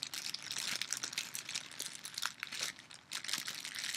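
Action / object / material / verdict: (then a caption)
scrape / thin clear plastic bag / plastic / none. A small, transparent, thin plastic bag held in the hands is crinkled and rubbed with the fingertips and long nails. A dense, bright, continuous crinkling fills the clip with many quick crackles, easing briefly around the three-second mark before picking back up.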